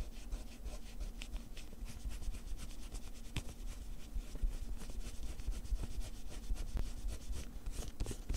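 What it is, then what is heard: Pencil scratching on a paper sheet. A pencil tip scribbles and scratches across a small lined paper sheet torn from a spiral notepad, which lies flat on green cloth and is held down by one hand. Quiet, dry scratchy strokes and rubbing come in quick, uneven bursts over a steady low hum.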